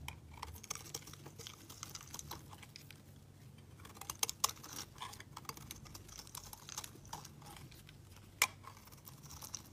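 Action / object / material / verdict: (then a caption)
scrape / soap block / soap / none. A utility knife blade shaves flakes from a solid rectangular beige soap block, making a steady run of quiet, crisp, bright scraping and cutting ticks over a faint low hum. A few sharper, louder snaps stand out near the middle and again toward the end.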